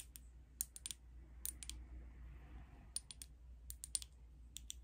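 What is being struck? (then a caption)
Small glass bottle with liquid, tapped with nails. Long acrylic nails tap a small glass liquid foundation bottle with a black cap, filled with beige liquid. Sixteen quick, bright clicks with almost no ring stand out over a quiet, steady low hum.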